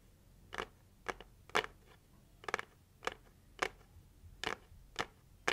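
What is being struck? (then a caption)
Cardboard gift box. Long acrylic nails tap the lid of a hollow pink printed heart-shaped cardboard gift box, making a series of short, dry, papery clicks spaced at irregular intervals. Each tap is crisp and bright and dies away almost at once, over a quiet background.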